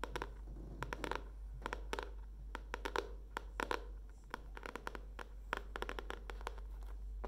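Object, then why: Cardboard-covered spiral notebook. Long dark-painted nails tap and scratch the printed green leaf cardboard cover of a hardcover spiral notebook with a metal spiral binding, held up in the hands. Quick, sharp, dry clicks come in irregular bursts, with faint scratchy rustles between them over a steady low hum.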